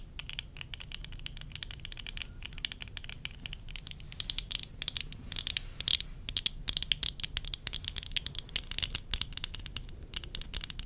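Worn, small, hollow-rimmed tortoiseshell plastic eyeglass frames with lenses are tapped and scratched with long acrylic nails. The result is a dense run of quick, dry, bright clicks with no ring, mixed with scratchy rattling and a faint low rumble underneath.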